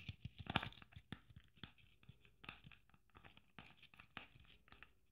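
Long nails tap and scratch a red sequin Christmas ornament with gold braid and a metal cap. The result is a quiet run of about a dozen short, dry crunchy taps with scratchy, crinkling rustles and bright clicks, with no ring after each hit.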